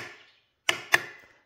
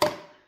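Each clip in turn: First: Two quick, bright metallic ticks near 1.8 kHz from a jar lid tapped with a spoon: the lid is sealed. Second: One light spoon tap on a jar lid gives a hollow, mid-pitched sound: the lid never sealed.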